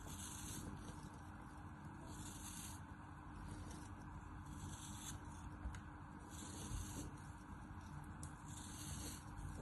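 A small, solid, round molded piece of kinetic sand is held in the fingers and sliced and scraped with a black cutting tool over a tray of sand. The result is a steady, quiet, gritty rubbing with a low, dense rumble underneath and faint bright swishes that come and go with each stroke.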